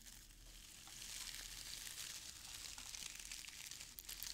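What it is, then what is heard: Shredded crinkle paper filler. A hand digs into and rummages through brown crinkle-cut shredded paper filler packed in a small open cardboard box. It makes a steady, dry, bright crinkling rustle with scattered tiny crackles, quiet at first and growing fuller after about a second.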